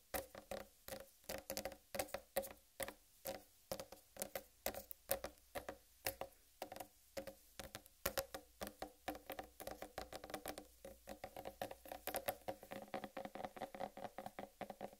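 Long red nails tap and scratch across the solid green striped rind of a large whole, uncut watermelon. About seventy quick, dry taps ring hollow around 555 Hz and die almost instantly, with faint scratchy texture between them.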